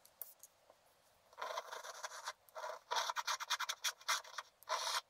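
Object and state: Scratch art card being scraped.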